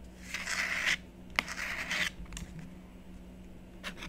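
A blue stylus scratches small lines into a thin, solid black-coated scratch-art sheet lying on a desk, while a long-nailed hand steadies the top of the sheet. Two bright, hissy scratching strokes are heard, separated by a sharp click, followed by fainter scraping ticks over a quiet, low steady hum.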